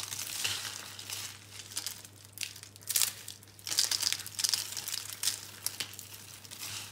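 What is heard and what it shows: A handful of small, hollow, dry green-and-pink soap curls is squeezed and crushed in bare hands over a pile of soap crumbs. It makes a bright, dry crinkling crunch in a run of quick bursts with a steady low hum underneath.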